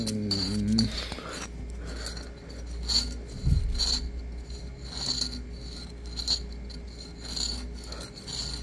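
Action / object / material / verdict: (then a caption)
scrape / glass bottle with a cork covering / cork / none. A hollow bottle wrapped in a cracked cork or paper layer, with a green band at its neck, is held in the hand and rubbed and scratched with fingertips and nails. Dry, bright rasping and scratching comes in uneven bursts over a steady low hum, with a short tonal drone at the very start.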